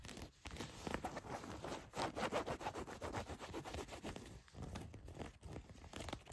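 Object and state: Denim jeans being scratched.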